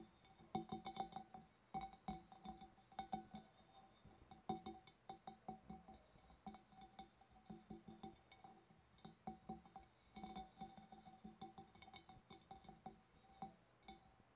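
Long black-painted nails tap quickly on the wavy rim and upper sides of a large, hollow, empty clear glass fish bowl. A steady stream of light, bright clinks rings at a clear tone around 750 Hz, each fading fast, at a quiet level.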